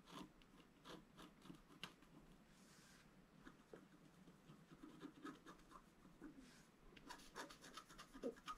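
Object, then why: Scratch-art paper with a wooden stylus. A thin wooden stylus scratches across a flat, black-coated scratch-art card held down by one hand. Quiet, dry scratching and rubbing strokes come in uneven bursts, with brief bright rasps on the sharper strokes and a slightly busier flurry near the end.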